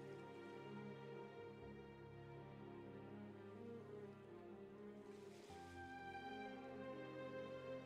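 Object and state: Nothing is struck.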